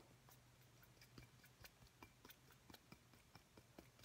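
A small, clear, hollow glass light bulb rests in the palm and is tapped with the fingertips and nails of the other hand. About eleven quiet, bright, clicky taps come at an uneven pace, each dying away quickly over a steady low hum.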